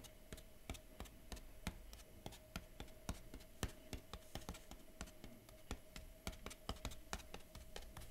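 Fingertips and nails tap and trace the printed keyboard drawing on the lid of a large, closed, hollow kraft cardboard Huawei MateBook X Pro laptop box. The result is a quick, uneven series of light, dry taps with soft scratching between them, over a faint steady background tone.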